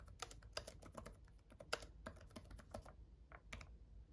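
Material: Plastic.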